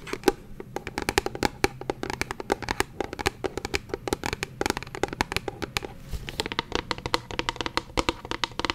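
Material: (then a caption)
Plastic. A medium translucent purple plastic bottle with a white cap, partly filled with liquid, is held in one hand and tapped with the fingernails of the other. It gives a steady, rapid run of dozens of short, dry clicks with a slightly hollow mid-pitched tone and bright edges. Each tap dies away almost instantly.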